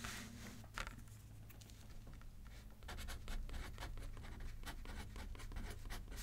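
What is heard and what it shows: A pen writes on a thin paper card resting on a paper pad, producing soft, irregular scratching strokes. The strokes are brief, dry bursts that come faster and a little louder in the second half, over a steady low hum.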